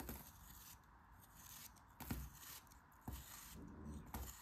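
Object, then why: Kinetic sand block cut with a craft knife. A craft knife blade slices and scrapes a solid, dome-shaped pink kinetic sand block held in the hand. A soft, low, crumbly scraping runs throughout, with sharper slicing strokes breaking through at irregular intervals and fading quickly.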